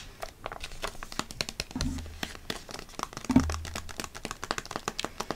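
A flat foil-laminate eye mask sachet is held up, crinkled and tapped with long nails, giving a dense run of sharp, bright crinkles and quick clicking taps. Two brief low thuds of handling break through around the middle of the clip.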